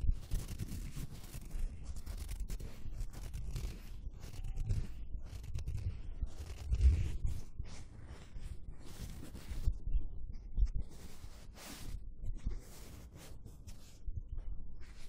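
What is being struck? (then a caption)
Thin foam sheet. A thin, flexible dark grey foam sheet is held in both hands in front of a microphone and rubbed and scratched with the fingertips and palms. A steady, muffled rustling and scraping with heavy low rumble continues throughout, broken by brief bright scratchy bursts.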